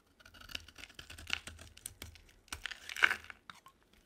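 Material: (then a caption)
Soap. A solid rectangular green bar of dry soap with white stripes is held in the hand and carved with a utility knife blade. Quiet, crisp scraping and crackling cuts come in short bursts, bright and dry with no ring. There is a louder flaking crunch near the end.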